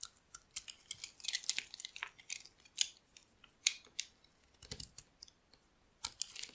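A solid beige bar of dry soap, held in the palm, is scraped and carved with a metal utility blade as flakes fall off. A quick, irregular series of crisp, dry scraping and cutting strokes is heard, bright and hissy with almost no low end and no ring after each stroke.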